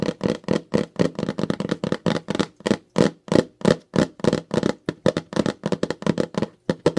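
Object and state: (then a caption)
Plastic mailer bag. Fingertips and long nails tap and crinkle the surface of a glossy pink plastic Ipsy mailer pouch, held flat in both hands with its contents inside. About thirty quick, dry plastic taps and rustles come in an uneven, rapid rhythm with no ring after each one.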